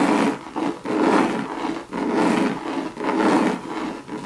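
Long red nails scratch across a hollow Louis Vuitton monogram bucket bag made of coated canvas. The result is a series of dry, raspy rubbing strokes, roughly one per second, with a papery mid-range texture centered around 300 Hz and 1 kHz and almost no low end. Each stroke swells and fades with brief dips in between.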